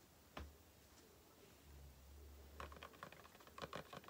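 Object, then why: Cardboard carton. Long painted nails tap and scratch the front and sides of a small, hollow, closed, printed Aloe face-cream carton. One sharp tap is followed by a soft low rumble, then a quick flurry of light, dry, papery taps. Each hit dies away almost at once.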